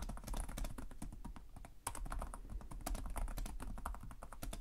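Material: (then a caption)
Plastic. Fingertips with short nails type continuously on the plastic chiclet keyboard of a black laptop resting on a desk. Rapid, clicky key taps come in a dense stream, each short and dry with a low thump under it. The typing briefly eases just before the two-second mark and then picks back up at the same quick pace.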